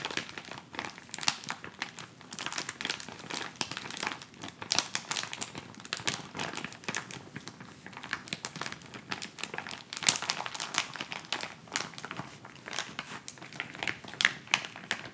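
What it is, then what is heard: Plastic instant cold pack. A white plastic instant cold pack pouch is bent, held, and crinkled and rubbed between the fingers. It makes dense, bright crinkling with many short, sharp crackles over fifteen seconds, and little low end.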